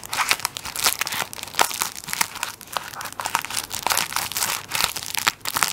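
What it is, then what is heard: Plastic-wrapped tissue roll crinkled. Fingertips squeeze and scratch the crinkly plastic wrap on the end of a tissue paper roll held beside the mic. Dense, bright crinkling and crackling comes in rapid bursts with short, dry snaps, with almost no low end.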